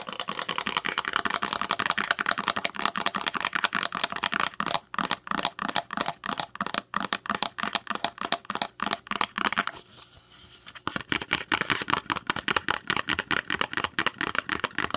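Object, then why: Small printed paperboard box. Long nails tap and scratch a small, hollow, white printed paperboard box for a powder, opening and closing its flap. Fast, crisp, dry clicks and taps run almost continuously, with a brief softer scratching stretch around the 10-second mark before the quick tapping resumes.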